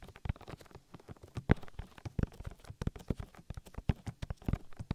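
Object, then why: Silicone ear of a binaural microphone. Oily fingertips rub and squish over the soft, hollow silicone ear of a 3Dio binaural microphone in quick massaging strokes. The result is a rapid, irregular run of deep, muffled thumps and wet squishes, heavy in the low end with almost no brightness. Each sound is short and dry.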